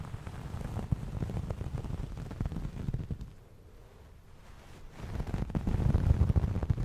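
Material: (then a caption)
Fabric. Fingers scratch and rub a soft, fluffy white fabric towel held by hand close to the mic, producing a dense, low, crackling rustle. The scratching quiets to a faint hush in the middle, then returns louder and fuller toward the end.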